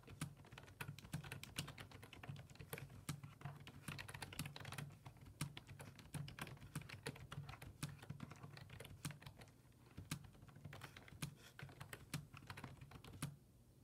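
Fingertips type rapidly on a black plastic full-size desktop keyboard with low-profile keys resting on a wooden desk. A steady stream of short, crisp clicks and taps with bright edges plays over a constant low hum. The typing stops just before the end, leaving only the hum.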